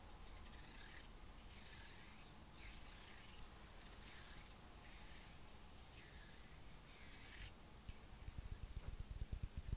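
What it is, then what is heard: Wooden comb. A light, solid wooden fine-tooth comb about hand length, held in one hand, is rubbed and scratched along its teeth with fingertips and nails. Repeated bright, raspy scratching strokes come in bursts over a soft low rumble, turning into quicker crackly ticks toward the end.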